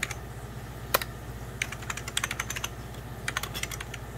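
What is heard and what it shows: Fingertips of both hands type on a hollow, beige 1990s Packard Bell plastic computer keyboard, producing about 22 short, bright key taps in uneven bursts. Each tap clicks and dies away almost at once over a steady low hum.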